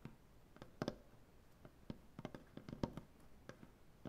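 Fingernails from both hands tap and click against a solid, light maple butcher block tabletop. About thirteen quiet, short, dry clicks come in an uneven rhythm. Each has a woody low-mid body and almost no ring.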